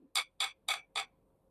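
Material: Wood.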